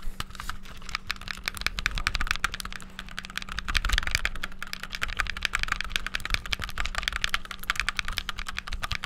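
The buttons on a black, hollow, handheld plastic game controller are pressed rapidly with thumbs and fingertips. The result is a dense, continuous stream of short, bright plastic clicks and taps over a steady low hum, lasting about nine seconds.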